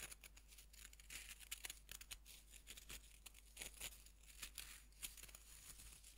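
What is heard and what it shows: Fingertips rub and crumble the surface of a fist-sized, solid pink bath bomb made of pressed powder, held in both hands over a wooden board. A soft, dry, bright crackling and grainy scratching plays continuously, with many quick crisp crumbles over a faint low hum.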